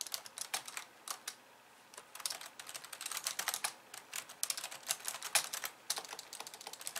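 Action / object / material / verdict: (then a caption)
tap / plastic computer keyboard / plastic / none. Long nails type on a pink plastic computer keyboard with white keys, first with two hands and then with one. Quick, bright plastic clicks and taps come in uneven bursts with a short pause near the start, with no low-end weight.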